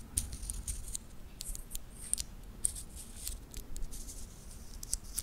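A small solid-metal titanium watch bracelet is gripped in the fingers while its links are flexed and clicked rapidly. The result is a fast series of short, bright metallic clicks and ticks with almost no ring, over a faint low rumble.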